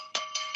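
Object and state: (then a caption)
Cast iron skillet. A heavy Kitchen HQ 12-inch nonstick cast iron skillet gives three quick, bell-like metallic hits. Each rings bright and clear around 1.2 kHz with a short decay, and the next hit lands before the ring fully fades.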